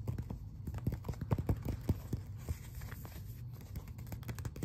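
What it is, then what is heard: Glossy paper magazine cover. Fingertips and nails scratch and tap across the glossy front cover of a closed glossy paper magazine, which is then held up. Quick, irregular soft taps with very short decay mix with dry scratchy rustles over a steady low hum.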